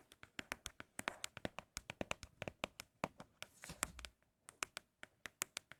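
Empty cardboard Apple product boxes are tapped for ASMR, and they are said to sound especially good. About 34 quick, dry taps land in a steady, fast rhythm, each crisp and bright with almost no ring. Near the middle, a brief softer rustle with a low thump comes between the taps.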